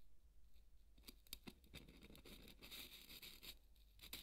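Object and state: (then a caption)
Polystyrene foam ball. A large white solid styrofoam ball is scratched with the tip of a marker pen drawing a line across it. The result is a quiet, dry squeaky scratching with bright, high rasps and several sharper clicks over a low hum.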